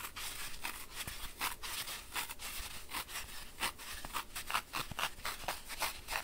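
Fingertips with short nails press and rub into the top of a round, solid, dry green floral foam block, roughly palm-sized, resting on a white surface. A steady run of bright, dry crunching and crackling bursts follows as the foam is crushed. Finger-shaped dents deepen in the block as it goes on.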